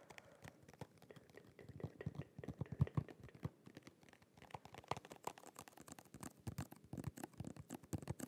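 Fingernails rapidly tap and scratch a small holographic cardboard and plastic press-on nail package held in the hands. Quick, dry, clicky taps and scratches overlap in a dense run, with a brief lull around the four-second mark before the tapping picks up again. Each tick dies away almost instantly with no ringing.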